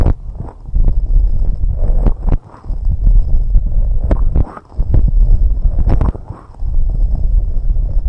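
Long red nails steadily scratch and tap on both white silicone rubber microphone ear covers. The result is a dense, low, rumbling scrape broken by sharp, dry taps, with almost no bright content.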